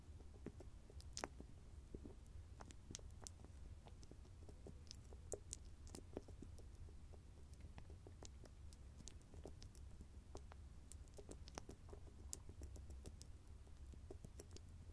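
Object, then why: Small cosmetic jar with metal lid. Fingernails tap and scratch the edge of the shiny metallic lid on a small round grey cosmetic cream jar. Dozens of quick, dry clicks and ticks with bright tops sound over a steady low rumble. Each one dies away almost instantly, and the whole clip stays quiet throughout.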